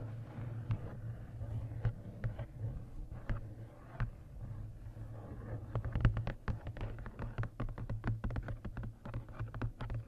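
Fingertips and long nails tap the card cover and lower edge of a large paperback coloring book, making short, dry clicks and soft thuds that barely ring. The taps start sparse, then grow denser and quicker in the second half, over a steady low hum near 110 Hz.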